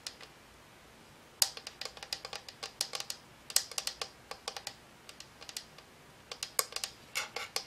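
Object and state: Plastic and aluminum lamp.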